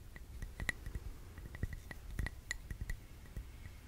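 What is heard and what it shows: Long nails tap slowly on the rim and sides of a clear glass candle jar, filled with red wax and holding a lit candle, that is held in both hands. The result is a series of soft, irregular clinks, each a brief bright ping near 2 kHz that fades almost at once, over a quiet low rumble.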